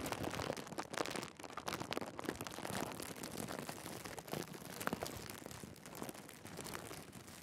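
A thin, clear plastic bag is bunched on top of a camera and crinkled by fingertips, with both hands pressing and rubbing the plastic. The result is a steady stream of dense, bright crackling and rustling with many overlapping sharp crinkles. There are a few louder bursts throughout.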